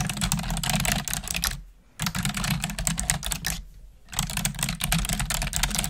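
Long nails and fingertips type rapidly on the keys of a black plastic desktop keyboard, producing dense, bright clicks and clacks over a low hum. The typing comes in three bursts separated by two short pauses.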